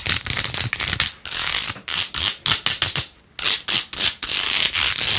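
Long fingernails scratch quickly across the pink faux-pearl beads on a rose-gold plastic phone case held in one hand. The result is a run of bright, crackly scratching bursts with short pauses between them, almost entirely high-pitched with very little low end.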